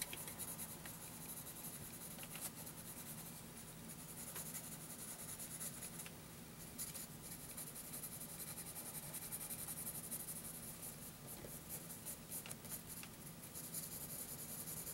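A wooden graphite pencil scratches shading onto a lined paper notebook page, producing a steady, soft, dry rasping with a bright hiss. Faint sharper strokes stand out now and then over a low, constant hum, and the sound stays quiet and even throughout.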